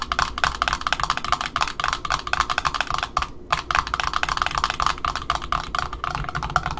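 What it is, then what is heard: Cardboard end disc of a ribbon spool. Long nails of both hands tap rapidly on the cardboard end disc of a black Offray ribbon spool resting on a table, with a larger spool in the background. The result is a steady stream of short, dry, clicky taps with a hollow, woody tone around 1.4 kHz and almost no ring. The stream briefly pauses just after the three-second mark before resuming.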